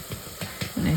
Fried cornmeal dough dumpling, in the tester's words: if you can hear it hollow